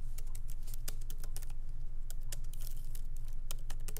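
Light fingertip typing with both hands on a MacBook Pro laptop keyboard, its small plastic keycaps set in an aluminum body resting on a wooden desk. Quick, unevenly spaced soft taps with bright, short clicks sit over a steady low hum throughout.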